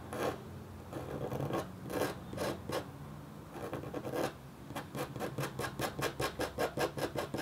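A flat, thin, solid black-coated copper-foil scratch art board is scratched with the metal tip of a red stylus while the other hand holds a paper sheet on it. Slower, drawn-out rasping strokes give way to a quicker, steady run of short, bright scratches.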